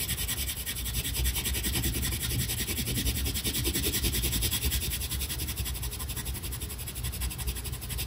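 A tan colored pencil held in the fingers is rubbed hard in short strokes across a flat paper coloring page of a tiger lying on a table. The result is a steady, continuous scratching rasp with bright, hissy texture over a low rumble, holding at an even level throughout.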